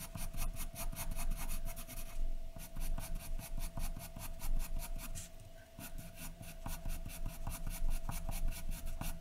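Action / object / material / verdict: scrape / graphite pencil on a paper drawing sheet / paper / none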